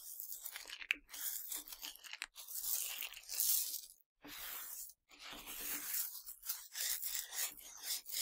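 Both hands scoop, rub and sift a pile of Nerds candy, tiny hard sugar candies, on a black surface, working the grains between fingers and palms. A dense, bright, gritty crunching and rattling goes on almost continuously, with short pauses near the fourth and fifth seconds.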